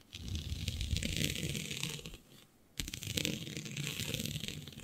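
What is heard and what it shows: Long nails scratch a flat sheet of black synthetic stretch fabric with a shiny dotted pattern. The result is a dense, continuous rasping that pairs a low rustle with a bright, hissy texture. It fades into a brief quiet pause, then resumes sharply for a second run of scratching.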